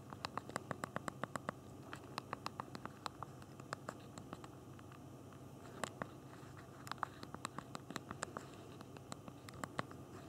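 Thumbs rapidly tap the backlit physical plastic keyboard of a small BlackBerry Q10 phone while typing text. The result is a quick, uneven run of short, dry, bright clicks with almost no ring, over a low background hum.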